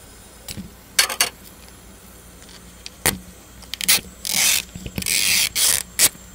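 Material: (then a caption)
Chocolate, foil. A large hollow chocolate sphere wrapped in gold foil, resting on a steel ice-cream plate, is tapped with a metal spatula blade, then tapped and scratched with gloved fingertips. Short, bright, crinkly taps with almost no ring are heard, followed by longer hissing foil-scratching rasps, all sitting high in pitch over a quiet background hum.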